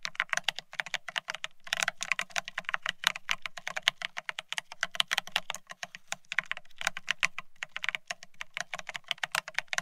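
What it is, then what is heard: Plastic split ergonomic keyboard. Fingertips of both hands type fast on a full-size beige split ergonomic keyboard with plastic-looking keycaps, resting on a desk. Dense, rapid streams of short, dry, bright plastic clacks come with brief pauses between bursts. A faint low hum sits underneath throughout.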